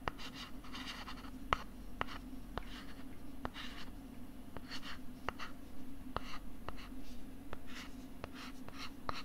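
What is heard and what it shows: Fingertips scratch and tap the back of a thin, flat pink plastic LCD writing tablet held close to the mic. Soft, brushy scratching comes in short bursts, with sharp, dry taps spread through it over a steady low hum.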